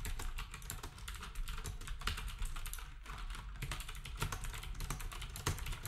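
A black wireless typewriter-style keyboard with round plastic keycaps and a hollow housing is typed on rapidly with the fingertips of both hands. The result is a dense, steady stream of quick clacking key taps, each a bright click over a hollow low thump that dies away quickly.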